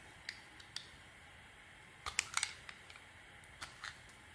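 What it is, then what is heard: Bar of soap being shaved. A metal blade shaves small flakes off the surface of a round, purple, textured solid bar of soap. Crisp, bright scraping clicks come in scattered short bursts over a quiet background, with a cluster in the middle. Each cut is dry and ends almost instantly.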